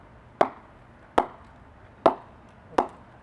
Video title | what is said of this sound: Kookaburra Vs GM Vs Hammer Cricket Bat 2020 | I can't feel it at all of course it's a softer ball but it's really nice